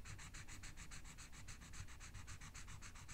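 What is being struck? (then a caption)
Felt-tip marker rubbed on a paper sheet. A felt-tip marker held in the hand is rubbed quickly back and forth to color a small area of a thin paper coloring sheet lying flat on a book, while the other hand with long red nails rests on the sheet. This makes a steady run of quiet, scratchy, sanding-like strokes with a bright hiss, over a faint low rumble.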